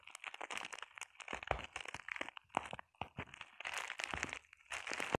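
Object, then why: Plastic bubble wrap sheet. Long painted nails scratch and tap a flat sheet of clear plastic bubble wrap, making a dense run of dry, crinkly crunches and quick ticking taps. The sound is bright and close, with almost no low end, and each tap stops dead with no ring, broken by a few brief pauses.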